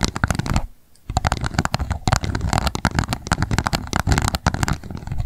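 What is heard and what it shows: An empty pink plastic cup stands upside down while long nail tips tap rapidly on its base. The result is a dense run of quick, hollow plastic clicks with a low, thumpy body and bright edges. A short pause comes near the start before the fast tapping resumes.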